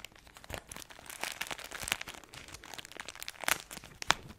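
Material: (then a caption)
Plastic film. A plastic-wrapped pack of crispbread crackers is scratched and squeezed with long acrylic nails, giving a close, bright crinkling and crackling with sharp scratchy clicks. The sound is mostly high and trebly with almost no low end. The brightest crunchy spikes land near 1.9, 3.5 and 4.1 seconds.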